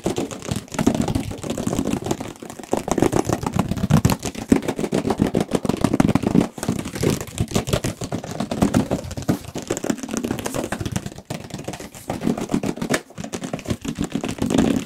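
Fingertips and nails tap and scratch rapidly across the surface of a large, hollow, black and red Radeon RX 570 graphics card cardboard box. The result is a dense, nonstop stream of dry, hollow thuds centered low around 250 Hz, with faint scratchy texture and almost no ring after each tap.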